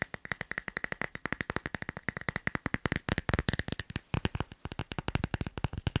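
Fingertips and nails rapidly tap the back of a teal leaf-print glossy plastic phone case fitted on a phone, producing about 56 sharp, dry clicks that die away almost instantly, with a faint ringing tone around 2 kHz through the first half.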